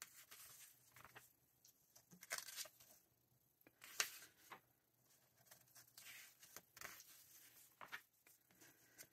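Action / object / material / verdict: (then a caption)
scrape / glossy paper magazine / paper / none. Fingertips flip and slide the pages of a glossy paper November 2024 issue of Vogue magazine held open by hand, producing quiet, bright papery rustles and swishes. Sharper crinkles stand out around two and four seconds, over a faint steady low hum.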